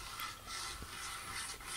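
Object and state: Nothing is struck.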